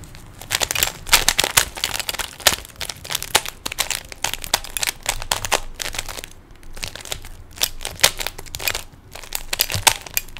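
Fingertips quickly turn the layers of a small hollow plastic 3x3 Rubik's cube, producing rapid bursts of bright, dry plastic clicks and crinkly rattles. The clicks are sharp and high-pitched and die away almost instantly, with little low end.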